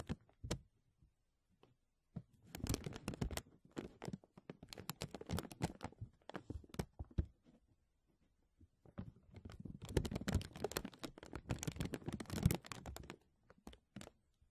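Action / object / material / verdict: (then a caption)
scrape / thin clear plastic bag / plastic / none. Fingertips and nails rub and crinkle a thin, clear, embossed plastic vacuum-seal bag stretched over a mesh microphone dome. Dense crackling and crinkling bursts come in two main stretches, with soft isolated crackles and near-silent pauses between them. The sound is close and low-heavy, with sharp bright snaps scattered throughout.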